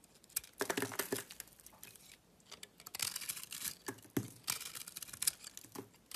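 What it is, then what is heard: Bar soap being shaved with a blade. A blade shaves the textured blue coating off a solid oval bar of white soap held in the hand, exposing the white soap underneath. Quick bright scraping and crinkly tearing strokes come in bursts with short pauses between them, each stroke dry and sharp with no ring.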